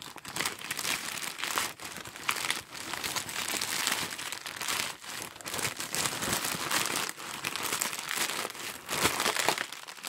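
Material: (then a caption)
Polyethylene. A torn-off, empty piece of grey star-printed polyethylene mailer bag is crumpled and squeezed into a ball in a gloved hand. Dense, bright crinkling runs almost continuously, with brief quieter dips and almost no low end.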